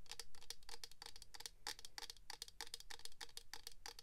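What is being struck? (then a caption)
Small clear hard-plastic box filled with glitter. A small clear hard-plastic box filled with glitter is held in the hands and tapped with long pink acrylic nails. The result is a quick, uneven run of short, bright clicky taps, each dying away almost at once, over a faint low hum.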